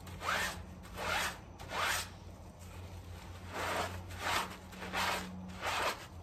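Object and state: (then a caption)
Soapy fabric doormat being scrubbed. A small, wet, soapy fabric doormat covered in foam is held down by one gloved hand while the other scrubs it with a green sponge or brush. Repeated rasping, zipper-like strokes rise and fall at an uneven, steady pace. A low, constant hum runs underneath.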